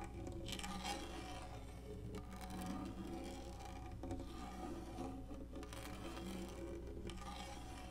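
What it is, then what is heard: Plastic lap tray being scratched. Long natural index-finger nails scratch across a large black textured plastic lap tray with cup holders and a hollow molded body, resting on a leather couch. The result is a steady, raspy scraping at an even level, with brighter rasping strokes over a constant low, bass-heavy hum.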